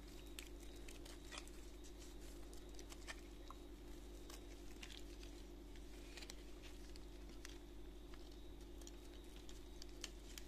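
A solid white bar of soap, held in a gloved hand, is scraped with a utility knife blade, and the flakes fall onto a pile. Quick, faint, dry scraping ticks and crackles patter steadily throughout over a constant low hum, with brief bright edges around 3 kHz. The overall level stays quiet and even, with no single loud hit standing out.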